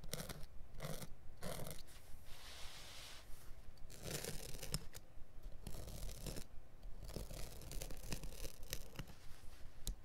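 A blade scores along the edge of a carpet's woven, felt backing laid on a cutting mat, while the other hand holds it flat. Short, dry, scratchy rasps repeat roughly twice a second at an uneven pace, each a brief bright hiss that stops with no ring, over a low steady rumble.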